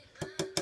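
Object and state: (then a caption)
Hollow thin plastic model airplane. Three light taps on a thin, lightweight plastic Mexicana 1:150 Airbus A320 model airplane give short, hollow clicks. Each tap leaves a faint ring around 380 Hz that fades quickly, showing the model is hollow inside.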